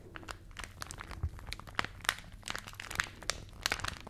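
A rolled glossy paper magazine, forming a hollow tube, is held in both hands near the mics while fingers squeeze and rub it. The paper gives a run of quick, dry crinkles and crunches with bright, sharp snaps over a faint low hum. Each snap cuts off almost at once.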